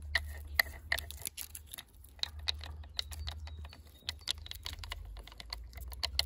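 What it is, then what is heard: Split firewood log, scratched and tapped with metal thimbles. Fingers wearing brass metal thimbles scratch and tap the cut end grain of a solid split firewood log in a woodpile. The result is a quick, irregular run of dry, bright metallic clicks and scrapes, some with a brief ringing tone near 2 kHz. A steady low rumble runs underneath.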